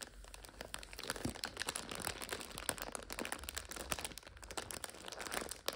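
A full plastic multipack of instant noodles stands on its end, red wrapper side up, while nails scratch and fingers crinkle the plastic film. The result is a steady run of quiet, bright crinkling and crackling with dense, close-together clicks that die away almost instantly.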